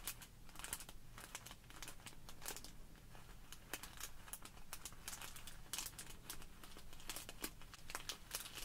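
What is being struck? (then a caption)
Small plastic bag filled with polystyrene foam beads. A small clear plastic bag full of tiny white polystyrene foam beads is squeezed by hands while long nails scratch and pinch the plastic surface. Dense, bright crinkling and crackling comes in quick, overlapping bursts over a low, steady rumble, with sharp short clicks standing out now and then.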